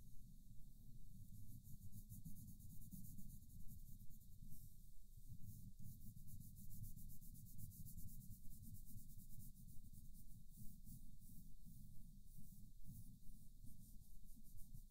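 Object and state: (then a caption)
Colored pencil coloring on paper. A green wooden colored pencil, held in a hand with dark-painted nails, rubs and scratches steadily across a paper coloring book page. The result is a quiet, continuous, low, grainy scraping texture with a faint bright hiss above it, lasting the whole clip without a break.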